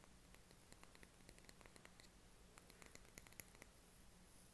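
A small glass jar candle filled with green wax, labelled Opalhouse on the bottom, is tapped on its side and base with fingernails. The result is a run of quiet, sharp, bright clicks that die away almost instantly, over a steady low hum and faint hiss.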